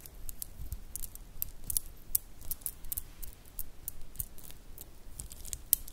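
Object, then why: Shell bead bracelet. A stretch bracelet of small, solid, iridescent grey mother-of-pearl shell cube beads is held in both hands and flexed and rubbed with fingertips and long nails. The beads click against each other in quiet, rapid, irregular bursts of bright, dry ticks that die away almost instantly, over a faint low rumble.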